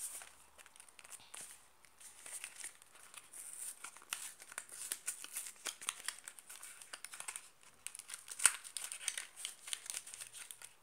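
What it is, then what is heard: Cardboard soap box. A small cardboard soap box, held close, is tapped and scratched with long black nails along its faces and edges. The result is a quiet, rapid stream of dry, bright clicks and crinkly scratching with almost no low end, with one sharper tap standing out near the end.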